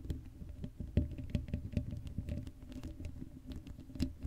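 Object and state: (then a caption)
Metal mesh microphone grille. Long acrylic nails rapidly scratch and tap the hollow black metal mesh grille of an uncovered Blue Yeti microphone. The result is a dense, low, rumbling patter of many quick, dull taps and scrapes with a steady low hum beneath them. A few sharper knocks stand out among the rest.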